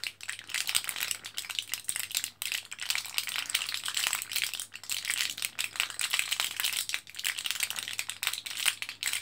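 Fingertips press an orange plastic and foil blister card of capsules, foil side up and held in both hands, making the capsules rattle inside. The result is a dense, continuous run of bright, crisp clicks and crinkling rattles with very short decays, lasting about nine seconds with brief pauses.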